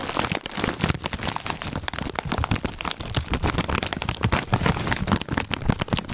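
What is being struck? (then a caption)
Foil-lined plastic chip bag. Fingertips tap, scratch and crinkle a full, foil-lined plastic Zapp's potato chip bag held close. The sound is a dense run of sharp, crackly taps and rustles with soft low thumps underneath and bright crinkling on top. It continues steadily with no pause.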